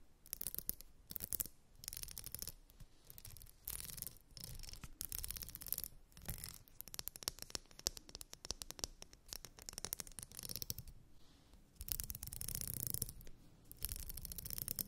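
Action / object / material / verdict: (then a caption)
scrape / plastic wide-tooth comb / plastic / none. A purple glitter wide-tooth plastic comb is held in one hand while the fingernails of the other hand strum and scratch across its teeth. The result is quiet bursts of rapid, bright, crackly clicking and raspy scratching, separated by short pauses, with a longer sustained stretch near the end.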